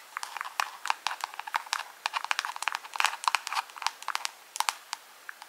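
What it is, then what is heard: Plastic jar tapped with fingernails. Long pink acrylic nails tap and scratch a small, hollow, round clear plastic jar or lid held close up. The result is a quick, irregular run of crisp, dry clicks and crinkly scrapes, bright around 1 kHz and above with no low end. Each tick dies away almost instantly.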